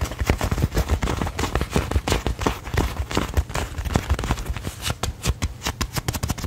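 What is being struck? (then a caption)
Inflated leather football. Fingertips and nails rapidly tap and scratch the surface of a brown, hollow, inflated pebbled-leather football held up close. A fast, uneven run of dull, hollow thumps, heavy in the low end, mixes with bright scratchy clicks. Each tap dies away almost instantly.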